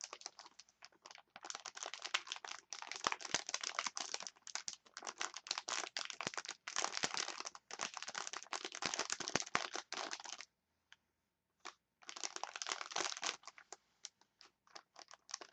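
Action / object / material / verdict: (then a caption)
scrape / clear plastic package of wooden chopsticks / plastic / none. Long nails scratch and crinkle a clear plastic package of wooden chopsticks, making dense, bright crackling bursts in quick, uneven runs. A brief near-silent pause falls just before the end, then the crinkling resumes in sparser clicks.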